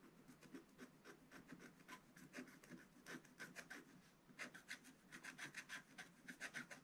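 A wooden stylus held in the hand scratches the black coating off a small square of a scratch-art paper page in an advent calendar book lying flat on a table. About two dozen short, dry, rasping strokes are heard in an uneven rhythm, with bright scratchy texture and a soft low body, louder in the second half.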